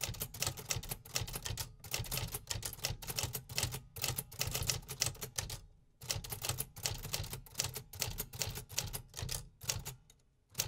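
A medium-sized 1950s Remington metal typewriter with a hollow casing is typed on steadily with fingertips. The result is a rapid, continuous stream of sharp mechanical key strikes with bright, clacky tops and a hollow low thump from the casing. A brief pause near the six-second mark is followed by more steady typing.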